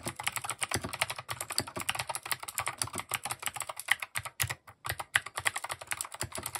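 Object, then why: Plastic mechanical keyboard being typed on. A compact mechanical keyboard with cream, grey and orange plastic keycaps and RGB underglow is typed on rapidly with the fingertips. Quick, bright plastic clacks follow one another in a steady stream, each dying away almost instantly, with a couple of brief pauses near the end.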